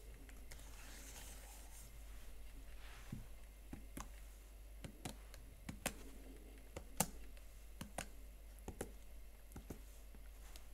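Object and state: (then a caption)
Plastic laptop keyboard. A single fingertip with a nail presses keys one by one on the plastic keyboard of a Huawei MateBook X Pro laptop. Fourteen short, bright, dry clicks sound at uneven intervals, each dying away almost at once, over a steady low hum.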